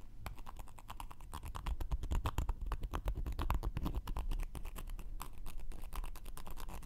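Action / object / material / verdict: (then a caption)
scrape / cork coaster / cork / none. A round, flat, solid cork coaster held in one hand has its edge and surface scratched with a thin wooden knitting needle. Quick, irregular scratching strokes come in close succession, each a short dry crackle that fades almost instantly. A soft, low, muffled rumble sits underneath throughout.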